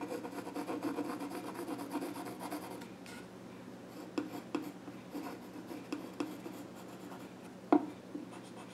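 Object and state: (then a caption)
Pencil scratching on a wooden stool top. A pencil scratches short strokes across the flat top of a small wooden child's stool. A dense, steady scratching rasp fills the first three seconds, then quieter strokes follow with sharp taps and scrapes, the loudest near the end.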